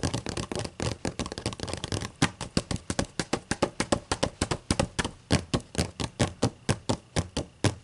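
Long matte acrylic nails tap and scratch across both pages of an open, thick book with white paper pages. A dense flurry of quick scratches and taps for the first two seconds gives way to a steady run of sharp, dry taps, each a low papery thunk with a bright click on top. The taps stop almost instantly, with no ring.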